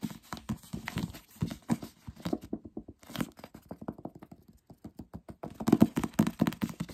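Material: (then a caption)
Paper. The glossy back cover of a paperback novel is tapped quickly with the fingertips and short nails of both hands. The result is a rapid, uneven patter of short, dry taps with a dull, low-mid thump and almost no ringing. The taps come in fast bursts with brief pauses and grow louder and denser toward the end.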